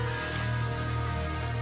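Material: Nothing is struck.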